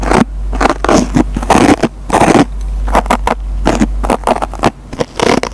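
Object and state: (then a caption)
Scouring sponge being scratched. A metal-tipped pencil repeatedly scratches the surface of a dry foam sponge's green nylon scouring pad. It makes a rapid series of short, dry, crackling scrapes separated by brief gaps, with a steady low hum underneath. The scratches sound coarse and gritty, with little bright top end.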